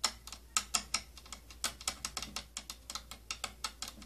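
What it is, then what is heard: Plastic compartment tapped with nails. Long nails tap on the rim and side of a round, hollow, purple plastic inner compartment with holes from an old tattoo kit. About 21 quick, bright plastic clicks follow in an uneven rhythm, each dying away almost at once, with some louder than others.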